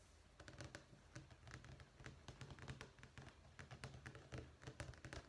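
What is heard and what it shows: Fingernails and fingertips tap rapidly on a thin, solid black-and-white checkerboard vinyl flooring sample page in a sample book resting on a desk. The quiet, dry taps carry soft low thuds with bright clicky edges and die away almost instantly. They form an uneven, continuous patter over a steady low rumble.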